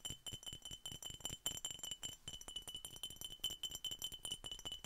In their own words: (ASMR) Tapping on a glass Coca Cola bottle [No talking]